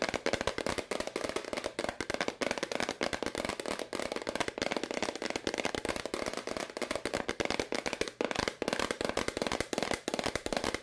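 A medium, hollow white plastic powder bottle with a green label is held in both hands and tapped fast with long nails. The result is a rapid, steady stream of sharp, dry clicks that barely ring, with a hollow midrange body and a bright, crisp edge.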